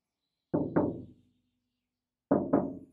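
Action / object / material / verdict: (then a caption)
knock / steel van door inner panel / sheet steel / undamped. Four knocks, in two quick pairs, land on the bare inner steel sheet-metal panel of a Mercedes Sprinter cab door as a knock test before butyl sound-deadening mats are applied. The undamped panel answers each knock with a resonant, drumming tone that rings briefly before fading.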